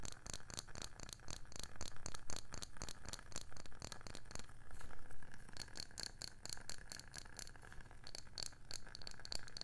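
Long painted nails tap and scratch a round wooden candle lid with a printed label. Quick, dry, clicky taps run in a dense, uneven stream with a deep low thud beneath them and almost no ring, broken by a softer scratching stretch around the middle. A faint high, steady tone sounds in the later part.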